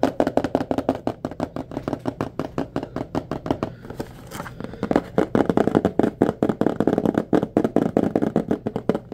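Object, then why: Small cardboard box holding bulbs. A small blue printed cardboard box holding a four-pack of white LED bulbs is held in both hands and tapped and scratched with fingertips and nails, possibly shaken. About fifty quick, dry, hollow taps with a low-mid body come in rapid runs, broken near the middle by a softer stretch of scratching before the dense tapping resumes.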